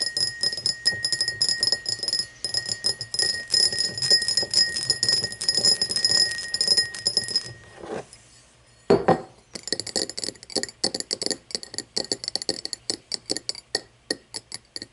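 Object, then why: Cut glass tumbler. Long nails tap quickly around the sides of an empty, hollow cut-crystal tumbler standing upright on a wooden table, making bright, glassy clicks with a steady ringing tone near 2 kHz. After a dense run of tapping, there is a brief pause, one louder knock, and then a faster series of short, crisp taps.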